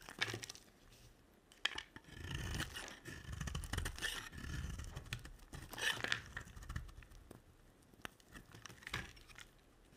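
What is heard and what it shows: A black utility-knife blade scrapes and cuts shavings off the face and edges of a solid, speckled, dry white soap bar, palm-sized and held in hand. Quiet, dry, crackly scraping and shaving runs throughout, with occasional sharp clicks and brief bright tearing bursts as the blade bites in.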